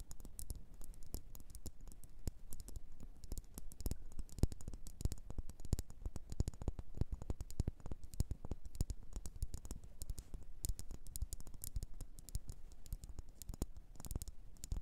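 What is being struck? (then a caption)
Small upside-down ceramic bowl. Long nails tap rapidly and continuously on a small glossy blue bowl, probably ceramic, turned upside down so it is hollow underneath. The taps are quick, dry clicks with a low, hollow body and very short ring, forming a steady, dense patter throughout.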